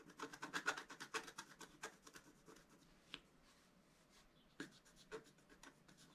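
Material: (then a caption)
Coated paper. A pointed wooden stylus held in the fingers scratches a flat, solid, roughly A4-size scratch-art sheet (black coating over rainbow foil) lying on a table. A quick run of short, dry, rasping strokes comes first, then they thin out to a few isolated, sharper scratches against near silence. The strokes are bright and papery, centered around 1.4 kHz.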